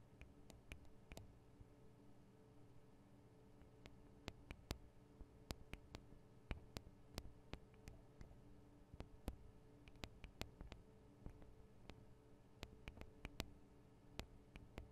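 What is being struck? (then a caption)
Metal and plastic recorder microphone capsules. Long acrylic nails tap and scratch on the two small hollow microphone capsules of a Tascam DR-40 recorder, with metal and plastic housings. A steady run of sharp, dry clicks, each dying away almost instantly, sits over a quiet, low hum.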